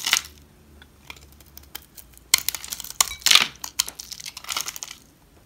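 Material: Soap.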